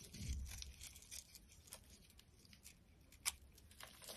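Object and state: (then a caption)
Dry soap bar being shaved. A metal utility knife blade scrapes brittle curled flakes off a solid pink bar of dry soap held in the hand. Bright, dry crackling and crinkling scrapes come in quick bursts over a soft low rumble, with one sharper crack near the end.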